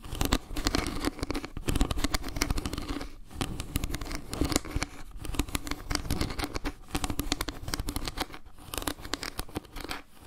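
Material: Wood.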